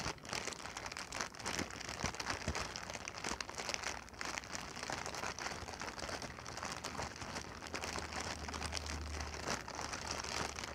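A clear, hollow, air-filled plastic air-cushion packing pillow is held in the hands and crinkled and tapped with fingertips and long nails. A dense, steady stream of bright crinkles and sharp little clicks runs throughout at an even level, with a faint low rumble underneath toward the end.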